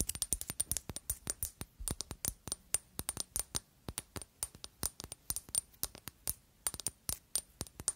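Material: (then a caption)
Glass. Long acrylic nails tap rapidly and irregularly on a square, pale pink glass Narciso Rodriguez For Her perfume bottle with a pink cap, which is hollow and partly full. Each tap is a short, sharp click with a faint, bright glassy ring that dies away almost instantly, repeating in quick clusters with brief pauses.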